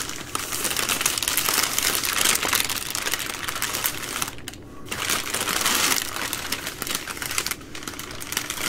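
Long nails scratch and tap the crinkly plastic overwrap of a three-pack of full, soft plastic baby wipe packs. A dense, bright crackle of rapid, irregular taps and scrapes fills the clip, briefly thinning into quieter pauses partway through before picking back up.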